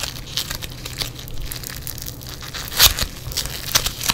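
Yellow foam bead clay is squeezed, then stretched and torn apart by fingers in black nitrile gloves. A steady run of fine, bright crackles and crinkles fills the clip, with a sharper crunchy pop near the end of the third second and another louder snap toward the close, over a faint low hum.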